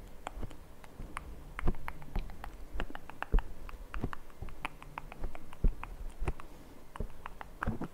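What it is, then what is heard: Foam microphone windscreen tapped and scratched. Both hands tap and scratch fast with their fingertips on the black foam windscreen of a Zoom recorder's microphone. The result is a rapid, uneven patter of soft, muffled, deep thumps with very short decay, with light scratching rustle filling the gaps between them.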